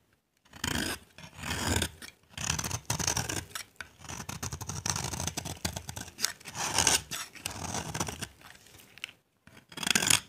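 A solid cream-white bar of dry soap, held in the hand, is scraped and carved with a utility knife blade, shaving off dry flakes. Bursts of crisp, bright scratching and rasping strokes follow one another with brief pauses, each dying away almost instantly.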